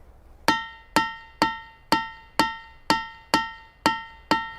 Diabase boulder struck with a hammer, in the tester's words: the rocks have different pitches within the same Rock itself